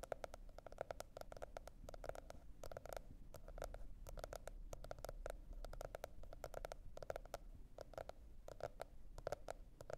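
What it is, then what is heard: Cardboard hardcover notebook. Long red nails tap and scratch a teal spiral-bound cardboard hardcover notebook, making a quick, steady stream of dry, hollow clicks with a mid-pitched knock. A quiet low rumble sits beneath the tapping throughout.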